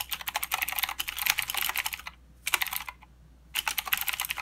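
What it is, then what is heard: Plastic mechanical keyboard. Fingertips of both hands type on a full-size mechanical keyboard with plastic keycaps and blue clicky switches. Fast runs of sharp, bright clicks break off into two short pauses, then resume. Each keystroke is crisp and dies away almost instantly.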